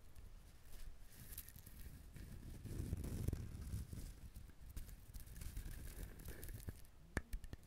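Fingernails scratch and tap along the ridged shell of a whole brown husked coconut, making a soft, low, rustling scratch. The scratching swells in the middle, then ends with a few short, sharp taps.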